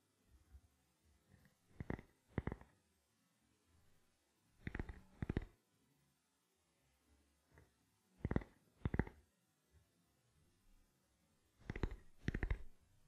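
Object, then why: Plastic camera lens cap. A small, round, black camera lens cap, likely plastic, is held in both hands near the microphone while fingertips and nails tap it slowly. Soft, dull, low taps come mostly in pairs separated by quiet gaps, each with a short, brighter click edge that dies away almost instantly.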